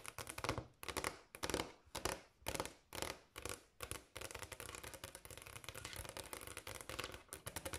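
Long black and pink acrylic nail tips on both hands tap a large, solid, polished granite countertop. Short bursts of fast, bright clicking come first, then settle into a dense, continuous stream of rapid taps. Each click is dry and dies away almost at once.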